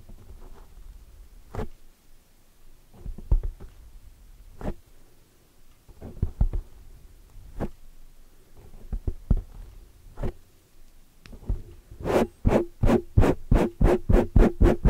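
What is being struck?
Foam microphone windscreen.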